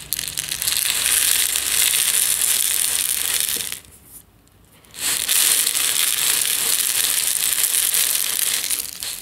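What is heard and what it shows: A medium plastic jar with a yellow lid, holding instant tea granules, is tilted and shaken with fingertips resting on the jar. It makes a dense, bright, crunchy rattle of granules sliding inside. The rattle stops briefly near the middle, then resumes just as strongly and tapers slightly at the end.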